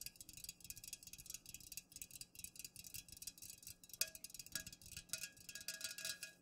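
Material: Aluminum.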